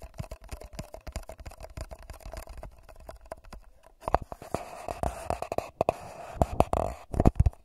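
Fingertips and short nails tap and scratch the sides of a small, hollow, empty paper cup with a shiny gold metallic foil coating, placed upside down over a Tascam DR40x recorder's microphone. Quick, dry taps thump low and boomy with a faint hollow ring around 650 Hz; they stay soft for about four seconds, then grow louder and busier, mixed with rasping scratches. The clip ends with a few sharp, heavier knocks.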